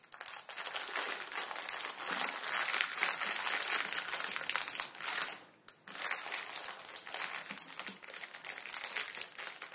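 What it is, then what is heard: Plastic ramen noodle packet being crinkled. Fingers squeeze and crush the back side of a full plastic-film ramen noodle packet resting on a wooden table. Dense, bright crinkling and crackling runs almost continuously, with a brief quiet pause around the middle before the crushing resumes.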